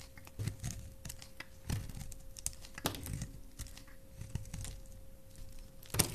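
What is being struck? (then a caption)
Glycerin soap bar cut with a knife blade. A solid, palm-sized translucent red glycerin soap bar is held in the hand and shaved and carved with a utility knife blade, while pink shavings fall off. Soft, dry scraping and crisp little cuts repeat unevenly, with a louder scrape near the start, the middle and the end. A faint steady hum runs underneath.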